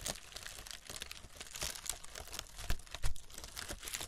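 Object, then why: Honeycomb kraft paper wrap. Long red nails tap and scratch along the cells of a brown honeycomb kraft paper packing wrap roll. The result is a quiet, irregular stream of dry, crinkly paper taps and scrapes, with bright brushing texture and a few slightly louder soft thumps near the end, each sound stopping short with no ring.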